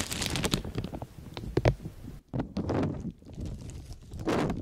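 A light blue, thin, flexible plastic disposable shower cap with an elastic rim is held open and stretched in both hands while the fingertips rub and crinkle the thin sheet close to the microphone. The clip is a dense run of soft crinkling and rustling, with brief sharper crackles and a short near-silent break past the two-second mark before the rustling resumes and swells again at the end.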